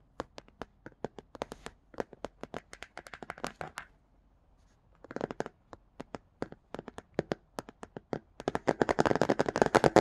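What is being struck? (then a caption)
Paper card book cover. Bare fingertips with short nails tap and scratch across the illustrated paper cover of a paperback children's picture book with cat and plant artwork, lying flat with its pages beneath. Quick, dry, irregular taps come in bursts, pause briefly near the middle, then resume and build into denser, brighter scratching toward the end.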